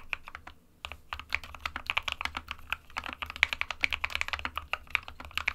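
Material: Plastic.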